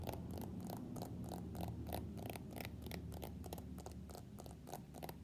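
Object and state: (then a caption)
Smartphone in plastic case. Fingernails tap and scratch on a floral-printed plastic case fitted to an iPhone X held sideways. Quick, fairly regular clicks with a bright edge repeat at about three per second over a low, steady hum. The sound stays quiet and close throughout.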